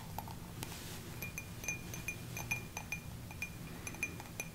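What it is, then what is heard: Cut glass tumbler. A small, hollow, empty cut-crystal drinking tumbler is held in both hands and tapped with fingertips and nails. It gives quick, bright clinks with a short ring near 2.4 kHz, over a low, steady background hum.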